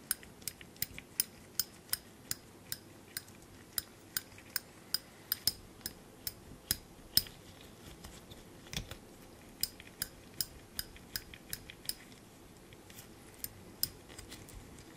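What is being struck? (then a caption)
Small steel binder clip with wire handles. A small black steel binder clip, held in a gloved hand, has its wire handles flipped and tapped against its body. About 29 sharp, bright metallic clicks come at an irregular pace over a quiet background, each dying away almost instantly with no ring.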